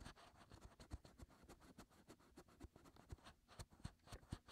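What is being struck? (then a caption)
Silicone ear molds of a binaural microphone. Fingertips and short nails on both hands scratch around the inner ear openings of the white hollow silicone ear molds on a 3Dio binaural microphone. The result is a quiet, close, continuous run of rapid scratching and rubbing, with soft low thumps under brief bright scratchy streaks.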